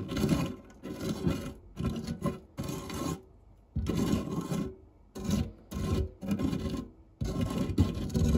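A white silicone spatula scrapes and pushes along the base of a round, dark non-stick metal fluted tart tin scattered with crumbs. Repeated dull, rasping rubbing strokes come in bursts separated by short pauses. The sound is weighted low, with little brightness and almost no ring.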